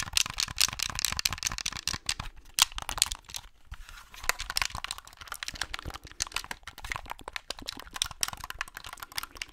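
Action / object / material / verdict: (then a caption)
tap / plastic game controller / plastic / none. A white plastic Xbox controller is held close to the mic while fingers tap and click its buttons and scratch its hollow plastic shell. The result is a dense, steady stream of crisp, dry clicks and scratchy rustling, bright and high with little low end and no ring after each tap.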